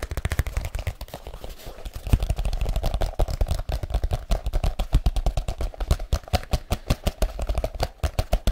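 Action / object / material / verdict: tap / leather folio case / leather / none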